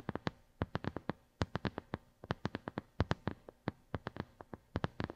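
Long glittery nails tap repeatedly on a flat white plastic brush pad with a square grid pattern, held over a gold mini mic. About thirty short, dry taps come in quick, uneven bursts, each a soft low thump with a brief click that dies away almost at once against a quiet background.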